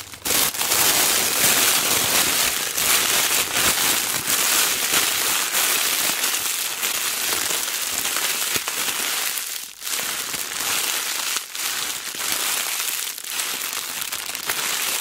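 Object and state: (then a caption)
Cellophane sheet being crinkled. Hands with long black-painted nails squeeze and scrunch a thin, clear cellophane sheet into a ball. A steady, dense crinkling and crackling runs throughout, bright and hissy with almost no low end. It dips briefly a couple of times as the grip shifts, then the crinkling resumes.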